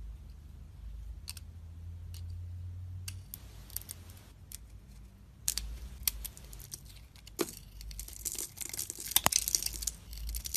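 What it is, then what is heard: Bar soap being scraped with a blade. A utility knife blade scrapes and peels the glossy pink coating off a solid oval soap bar with a white core, held in hand. Dry, crisp scraping and crinkling strokes come in bursts over a low steady hum, growing louder and brighter toward the end.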